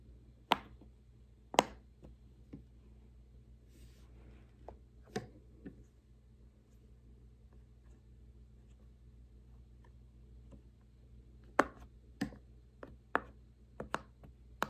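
Fingertips press the hollow bubbles along the rows of a large square rainbow silicone push-pop fidget toy, producing sparse, short, sharp pops. A few pops come early, then a long quiet stretch with only a faint low hum, and a quicker run of pops near the end. Each pop is a brief bright click that dies away almost instantly.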